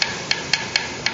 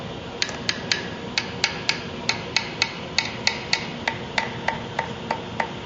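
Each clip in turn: First: Five bright, high clicks, each slightly different in tone, from frets that are glued down tight. Second: A string of quick, light taps on a guitar fret, each dying almost at once with a dead, woody tick.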